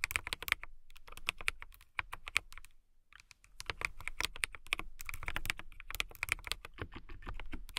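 Long nails and fingertips type on a full-size transparent acrylic mechanical keyboard with clear plastic keycaps, a clear case and RGB lights. Rapid, bright, sharp clicks and clacks come in quick bursts, with a short pause near the middle before the typing resumes. Each keystroke stops dead, with almost no ring.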